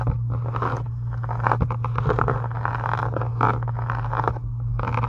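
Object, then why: Embossed faux leather journal cover. Long acrylic nails scratch across a solid, pink embossed faux-leather book cover, giving a steady run of dry, raspy scraping strokes in the mid range. A constant low hum sits underneath the whole time.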